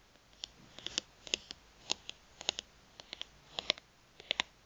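Long nails tap and scratch a thin, solid plastic gift card held in the hands, making about twenty sharp, bright clicks in an irregular rhythm. Each tick is very short and dry with almost no low end, and faint scratchy rustling sits between them at a quiet level.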